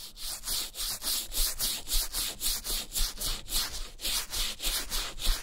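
A wooden-handled bristle brush with wet shampoo foam scrubs the toe and lining of a brown leather Levi's vintage boot, hollow and empty, resting on a towel. Quick back-and-forth strokes make a steady series of bright, wet, hissing swishes over a soft low rumble.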